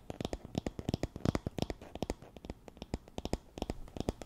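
Long nails scratch across the wooden pins of a wooden paddle hairbrush with a teal cushion, held near the mic. About thirty quick, dry clicks and scrapes follow one another in an uneven rhythm, each dying away almost at once. The sound is soft and low-weighted, with little high brightness.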